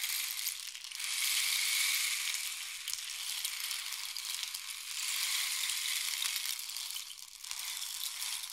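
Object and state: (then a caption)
Wooden rain stick. A long, hollow painted wooden rain stick is tilted from diagonal to horizontal, and its filling trickles down inside. The result is a steady, bright, hissing patter with no low end. It swells and fades in waves as the stick is tipped.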